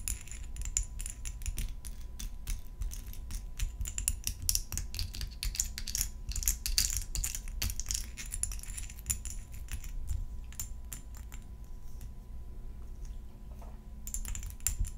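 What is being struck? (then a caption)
Glass perfume bottle tapped with long metal nails. A tall clear glass perfume bottle filled with pink liquid and topped with a silver spray cap is held in the hands and tapped with long gold metal nail claws. It makes a rapid, steady stream of sharp, bright clicks that die away almost at once, over a low background rumble. The tapping eases into a quieter stretch before picking up again at the end.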